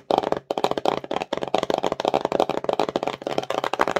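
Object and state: Cardboard box tapped and scratched with nails.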